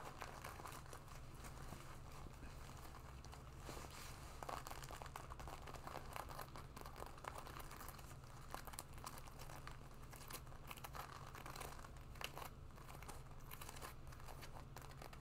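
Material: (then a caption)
Leather. Long nails scratch and fingers rub the leather on the shoulders and chest of a black leather jacket being worn. The sound is a quiet, continuous crinkling and scratching with soft bright rustle over a steady low hum, with no clearly separate hits.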